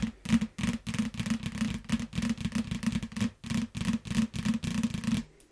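A yellow paperback book in shrink wrap is tapped and scratched with long nails while it is turned around. Quick, uneven bursts of tapping carry a dull, hollow knock around 240 Hz, mixed with bright, crinkly scratching of the plastic wrap. Each burst dies away almost at once, with short silent gaps between them.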